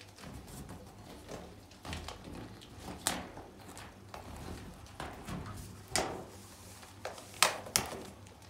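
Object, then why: Inflated latex balloon. Fingertips and nails tap, knock and scratch the surface of a large, inflated pink latex balloon, hollow and air-filled, held against window blinds. About seven sharp, bright taps stand out at irregular intervals, with soft rubbing and scratching in between.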